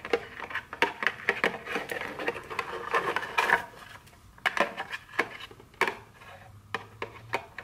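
Very long nails tap and scratch the back of a small, hollow, printed cardboard chocolate candy box held in the hand. The result is a quick run of short, dry, hollow clicks with a midrange knock near 940 Hz, mixed with brief scratchy rustles that brighten into a dense scraping burst around the middle. The hits die away almost at once with no ring.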